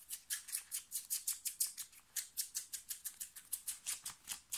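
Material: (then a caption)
Cotton. Fingernails scratch fast across a thin, light blue short-sleeve cotton-like t-shirt worn on the body, working over the shoulder and chest. A rapid run of about two dozen short, bright, papery rasps repeats in a steady rhythm, almost entirely high-pitched with no low end.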